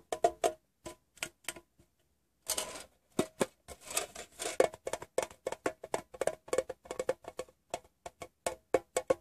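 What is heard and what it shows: A painted fingernail taps on a hollow, rectangular metal Wrigley's gum tin, first on the bare metal bottom and then on the printed side. Quick, dry tin clicks with a short ring around a mid pitch come in bursts, and after a brief pause a denser, scratchier flurry leads into steady, rhythmic tapping.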